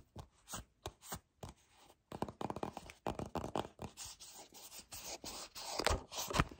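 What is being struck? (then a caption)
Small plastic cosmetic tube. A small, hollow white plastic Peptide Moisturizer tube with a black cap is gripped, rubbed and scratched with fingertips and short painted nails. Short, irregular scratchy and crinkly bursts start sparse, then grow denser and louder toward the end, with bright scraping texture.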